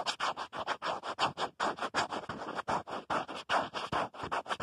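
Fingernails scratch and tap the back of a black plastic phone case on a smartphone held at a mirror, working around the camera module. About 23 short, dry, scratchy strokes come in a fast but uneven rhythm, each a bright rasp centred in the midrange with little low end and almost no ring.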